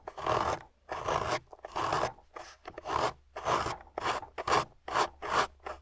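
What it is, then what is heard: Water-soaked clay block being scraped. A metal loop carving tool scrapes a thin, solid, wet piece of grey clay from a water-soaked grey clay block. About ten separate rasping strokes are heard, each a gritty, crunchy scrape centred in the midrange with a bright edge. Short quiet gaps fall between the strokes.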